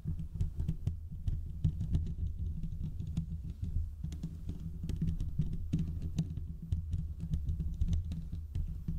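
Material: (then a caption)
Steel mesh. Fingertips and short nails from both hands scratch the hollow domed steel mesh grille of a large desktop condenser microphone. The result is a continuous, dense rush of low, thumping scratches and rapid taps, with occasional bright clicks on top.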